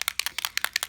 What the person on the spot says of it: you can hear those metal mixing balls in there